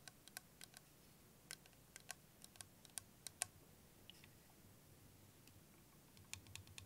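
A clear plastic liquid motion timer with yellow ends, filled with green liquid, is tapped and scratched with fingernails and tilted in the hands. Quiet, sharp, bright clicks and ticks come in irregular bursts over a soft, low background hiss, each tap ending almost instantly.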